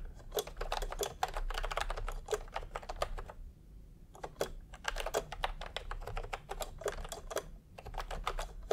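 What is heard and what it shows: Fingertips of both hands type continuously on a full-size pastel, typewriter-style keyboard with round plastic keycaps set in a hollow plastic case. Quick, clacky keystrokes pile up in dense runs, break for a brief pause near the middle, then resume over a steady low hum.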